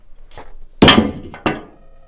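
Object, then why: Plastic clothes hanger. A plastic clothes hanger found on the floor is dropped during a paranormal investigation, to test whether it makes a noise heard earlier. It lands with two clattering knocks, a louder first strike and a second bounce, each fading quickly. It does not sound like the earlier noise at all.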